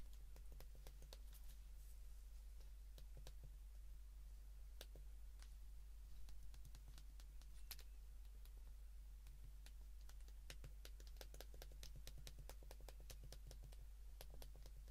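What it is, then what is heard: Plastic flip phone keypad. The number keys of a white plastic flip phone, held in the hands, are pressed with the fingertips, producing a steady run of short, crisp, bright clicks over about 15 seconds. The clicks sit quietly over a constant low hum.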